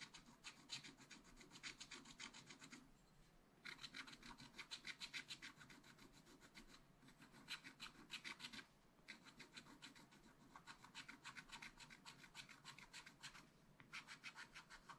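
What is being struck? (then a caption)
Black-coated scratch art paper scraped with a wooden stylus. A wooden stylus rapidly scratches a filled area of a cupcake on a black coated scratch art paper page. It makes bright, dry, rasping scratch strokes in rhythmic bursts, with brief pauses between passes.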